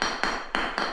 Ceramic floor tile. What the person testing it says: When you hear it like that, solid